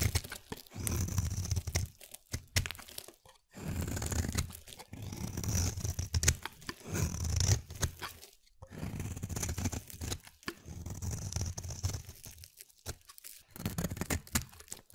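A palm-sized, solid translucent pale glycerin soap bar, held in hand, is scraped with a utility-knife blade so white shavings peel off. Repeated bursts of dry, crunchy tearing and scraping come in uneven strokes with short pauses. The sound is heavy in low, rumbling body with a faint bright edge, and it stops quickly after each stroke.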